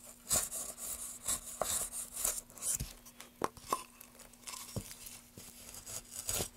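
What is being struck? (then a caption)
Pine wood block. A solid pine block is carved along the grain with a metal gouge held in gloved hands. Repeated bright, rasping scrapes and tearing cuts come with sharp, crisp clicks as the blade bites and releases. A faint, steady low hum runs underneath.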